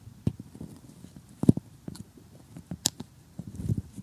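Metal tweezers poke and pick at assembled cardboard jigsaw puzzle pieces, with nails nearby. Soft, dull taps and light crunchy scratches sit low and quiet, broken by a few sharper clicks, one of them briefly bright.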